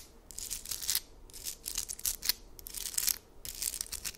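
Long acrylic nails scratch and tap quickly across a hand-sized, heart-shaped amethyst geode slab of solid stone with a purple crystal face and grey rim, held close. Bursts of bright, hissy scratching with small clicks come in waves separated by short quiet gaps, with almost no low end or ringing.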